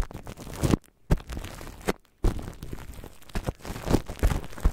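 Long nails tap and scratch clear plastic cling film wrapped over a microphone. The result is close, crinkly rustling and dull, bass-heavy thumps, with a few sharper taps and brief quiet gaps near the one- and two-second marks.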